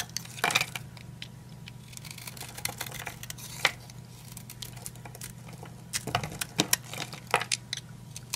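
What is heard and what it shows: A utility knife blade cuts into an old, dry, solid oval green bar of soap held in one hand, shaving flakes off its hand-sized surface with repeated short scraping cuts. The cuts sound as bright, dry, crunchy scrapes and crinkles over a steady low hum, with a few sharper crisp bursts standing out.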